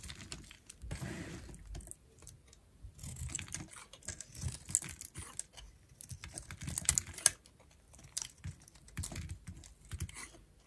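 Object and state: Dry bar of soap being shaved.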